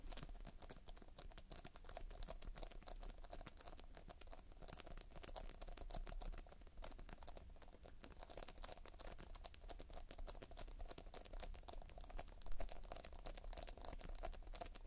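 Fingertips squeeze a sticky mound of polystyrene bead playfoam and rake through its surface up close. A quiet, steady stream of dense, crisp crackling and tiny popping clicks plays over a low hum, with one slightly louder burst near the end.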